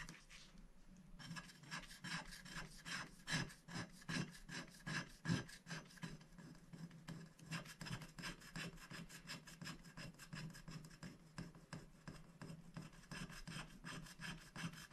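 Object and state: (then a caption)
Scratch-art paper sheet being scratched. A wooden stick rubs and scratches the black coating off a thin, flat paper scratch-art sticker sheet lying on a glass board, working in short strokes. Quick, steady dry rasping scrapes repeat throughout, each with a bright scratchy edge over a low body. The sound stays quiet and close.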